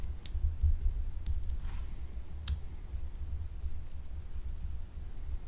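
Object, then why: Glycerin soap bar. A small, solid, translucent blue gemstone-shaped glycerin soap bar is held and scratched with long acrylic nails, its surface becoming scraped. Sharp, bright clicks and scratches sound over a steady low rumble.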